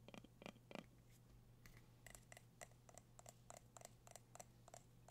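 Fingertips and nails tap the gold metal lid and sides of a medium, dark candle jar held in the hands. A series of quick, sharp taps each gives a brief bright ping that dies away almost at once, with heavier, fuller knocks at the start and lighter, ringing clicks later. A steady low hum runs underneath throughout.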